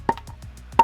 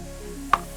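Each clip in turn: First: seasoned, dry firewood log. Second: wet, unseasoned firewood.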